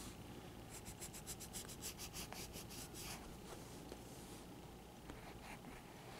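A graphite pencil held in the fingertips scratches and draws outlines on a page of a thick spiral-bound paper sketchbook lying open, its pages stacked and solid. A quick run of bright, rhythmic scratching strokes fills the first few seconds. Softer, scattered scrapes follow over a low, steady background hum.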